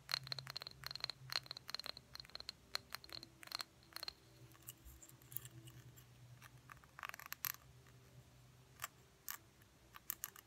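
Fingernails tap the body and the labeled bottom of a small, empty, hollow cobalt blue glass jar with a cork lid. Quick, bright clicks with a thin, high glassy ping come in rapid clusters over the first four seconds, then grow sparser with occasional sharp ticks and light scrapes over a faint low hum.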